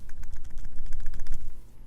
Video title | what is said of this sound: Linpa World T2 Unboxing & First Impressions | These are not going anywhere. Yeah, these are fine.